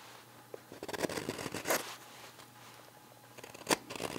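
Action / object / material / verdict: scrape / green wood spoon blank shaved with a steel knife / green wood / none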